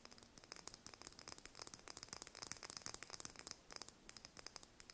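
Long nails tap quickly on a small, whole brown chicken eggshell held in the hand. A fast, uneven stream of short, dry, bright clicks follows, each dying away at once, with almost no low end.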